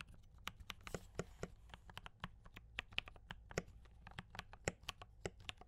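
Both hands type continuously with fingertip taps on a compact D84 mechanical keyboard with brown switches and cream and red plastic keycaps. About two dozen short, crisp clacks ring out in a quick, uneven rhythm, each snapping bright and dying almost instantly over a faint low hum.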